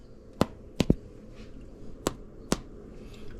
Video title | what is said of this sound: Fresh homemade bread and cinnamon butter swim biscuits. | If it sounds hollow, that means it's ready.